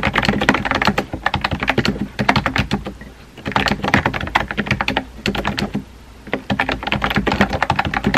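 Fingertips type on a compact pink plastic keyboard with round white keycaps, producing rapid bursts of crisp, bright clicks over a faint low hum. The typing comes in three runs, with brief pauses near the 3-second and 6-second marks.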